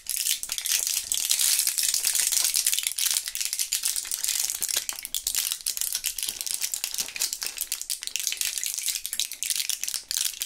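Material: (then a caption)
Plastic. A small clear plastic blister pack with foil backing, filled with purple Thrills gum pieces, is shaken in gloved hands so the pieces rattle inside their cells. The result is a dense, continuous, bright plastic clatter with almost no low end, holding steady for about ten seconds.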